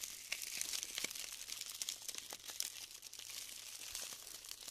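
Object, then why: Glued styrofoam bead clusters. Hands scoop up clumps of glued styrofoam foam balls and crumble them apart, giving a dense, continuous run of bright crinkling, crackling and snapping. The sound is quiet and almost entirely high-pitched, with no low end and short, dry pops that stop instantly.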